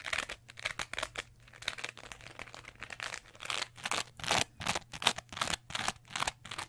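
A small green textured sponge is held close and scratched and squeezed with long nails, producing rapid, irregular bursts of bright, crackly scratching. The strokes come in quick succession and build to louder, denser scrapes toward the end, over a faint steady low hum.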